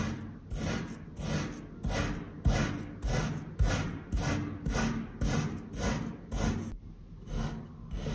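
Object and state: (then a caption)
Kinetic sand being cut with a knife. A hand-held metal knife slices and cross-hatches a long, solid bar of pink kinetic sand with its tip and blade. About eleven soft, gritty cutting strokes follow one another at a steady, loose rhythm, each a short crunchy rasp with a low, muffled body and a faint bright hiss on top.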